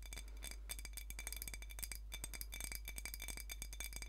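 Long nails rapidly tap and scratch a small glass soda bottle with a metal cap and a colorful label, full of dark liquid. The result is a steady stream of quiet, bright glassy clinks with high ringing tones over a constant low hum.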